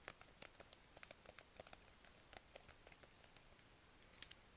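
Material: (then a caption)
Plastic. Long red nails tap a small, hand-sized clear plastic zip-lock pouch packed full of pastel plastic markers. The result is a quick, irregular run of quiet, bright, clicky taps with a faint crinkle, each dying away almost instantly, with one sharper tap near the end.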